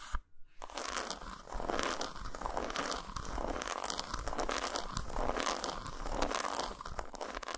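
Long nails tap and scratch a solid dark chocolate bar resting on a towel, and the bar is flipped from its dotted underside to its segmented top. After a brief near-silent moment at the start, a dense, steady stream of crisp scratching and quick tapping runs throughout, with short, dry clicks that do not ring.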